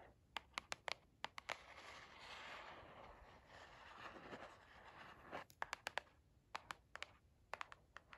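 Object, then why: Cardboard box. A hollow white cardboard product box with printed lettering is held in the hand and tapped and scratched with long acrylic nails and fingertips. Bursts of sharp, clicky nail taps open and close the clip, about twenty in all. Between them comes a steady, hissing scratch across the cardboard surface.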